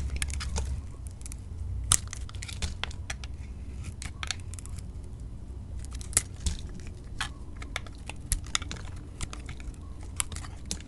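A utility knife blade shaves thin curls off a solid lilac soap bar held in the hand. Soft, crumbly scraping and crinkling run throughout, broken by sharp, bright crackling snaps over a low, steady rumble.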